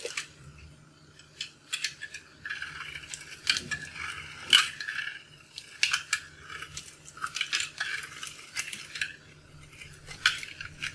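A hand-sized bar of dried, starch-coated soap, blue, pink and purple outside and yellow inside, is held in one hand and shaved with a thin metal blade that scrapes and cuts off crunchy yellow chunks. The sound is a dry, bright crunching and scraping made of many short, crackly bursts with almost no low end and very little ring.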